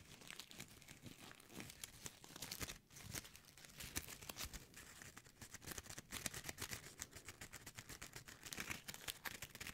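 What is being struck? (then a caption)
Foil-plastic gift bow. A small, light gold foil-plastic gift bow is crumpled and crinkled by fingertips and nails around the microphone. A steady stream of quiet, bright, crackling crinkles and short tearing-like rustles continues throughout, with brief dips and a few sharper snaps.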